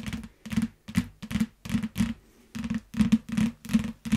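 A yellow paperback book in clear plastic wrap, lying on a mat, is tapped quickly with long fingernails. The taps come in short, irregular bursts, each a crisp, dry click with a faint plastic crinkle. A low body thump sits under the clicks, and each one dies away almost instantly.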